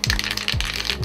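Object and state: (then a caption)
Spray paint can with mixing ball rattling. A metal spray paint can is held upside down and shaken, and the mixing ball rattles inside it, stirring up paint that has settled to the bottom. The rattle comes as quick, bright clacks over a low rhythmic thump from the shaking, and a test spray afterwards works fine.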